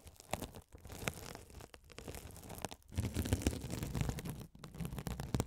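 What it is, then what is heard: Mesh scouring sponge scratched by a spiked roller. A rolling gold metal spiked roller is scratched across a hand-sized blue glitter mesh scouring sponge, soft and solid with a sparkly woven mesh cover, held over the mics. It makes a dense, low, rumbling scratch and crunch in quick irregular bursts, with brief gaps between passes. The second half is louder and fuller.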